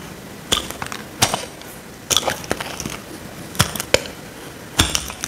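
A small metal blade scrapes a dry, solid square pink soap bar held in the hand. It makes sharp, bright, crunchy scraping bursts with brief gaps between strokes. Each stroke ends quickly against a low background hiss.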